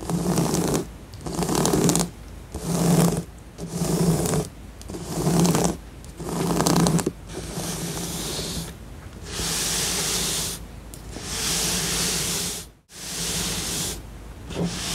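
Long nails scratch and rub across the glossy surface of a flat printed cardboard tiger jigsaw puzzle with a visible piece grid. Rhythmic bursts of dry, bright scratching alternate with short pauses, then stretch into longer continuous strokes with a steady low tone underneath, and a brief near-silent dropout just before the end.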